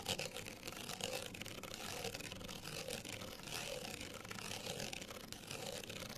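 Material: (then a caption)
Paper card. A small folded printed paper card hang tag, held upright, has its outer faces scratched with the long nails of both hands. The result is a steady, dense, bright scratching hiss with quick rasping strokes that blur together, over a faint recurring midrange tone and little low end.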